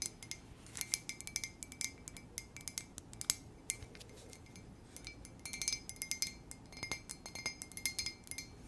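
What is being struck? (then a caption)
Ceramic coffee mug. A plain white ceramic coffee mug, hollow and apparently empty, is held in both hands and tapped with long nails. The result is a quiet, rapid run of bright, glassy clinks and clicks, each with a very short ring that dies away almost at once.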